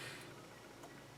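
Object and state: Nothing is struck.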